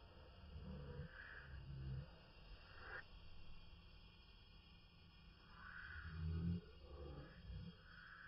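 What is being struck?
Nothing is struck.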